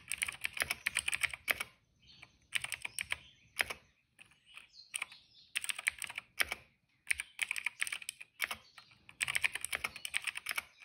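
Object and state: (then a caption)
Plastic mechanical keyboard. Fingertips of both hands type on a retro-style cream plastic mechanical keyboard with black and purple keycaps. Quick, bright, clacky keystrokes come in several bursts separated by short quiet pauses, each press dry and short, with its tone centered around 2 kHz.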